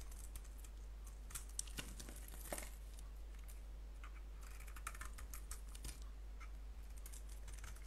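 A solid soap bar with a blue coating and white core is held in the palm and shaved with a blade, giving quiet, crisp scraping and crackling strokes with a bright edge. The soft shaving sounds come in short bursts over a steady low hum.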